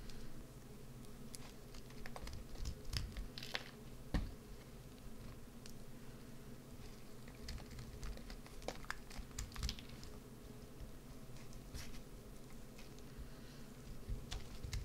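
A solid green soap bar with a carved-out cavity is held in the hand and scraped and scratched with a white-handled carving tool. Quiet, dry scratching and crisp little clicks and ticks come over a low, steady rumble, with a few sharper bright scrapes standing out.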